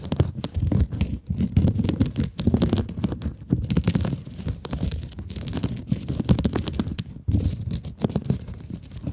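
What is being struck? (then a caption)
Plastic mesh scrub sponge. Long acrylic nails scratch and rub the textured mesh of a hand-sized, blue mesh-covered scrub sponge. The result is a steady run of dense, rapid scratchy rasps with a dull, low-heavy body and quick, dry bursts that stop without ringing.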